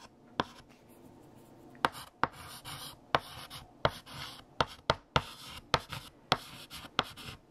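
A stick of pink chalk held in the fingertips writes text across a large, solid, flat black chalkboard with a painted surface. Eleven sharp, bright taps mark where the chalk strikes the board, each followed by dry, scratchy strokes and short pauses between them.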